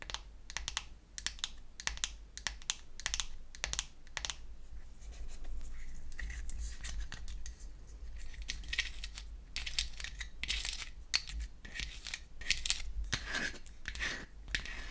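Long nails tap rapidly on the lid and inner wells of a small pink-painted wooden toy eyeshadow case, which is closed and then opened. Many quick, dry, bright clicks with almost no ring sit over a steady low hum, with a softer scratchy stretch in the middle before the tapping picks up again.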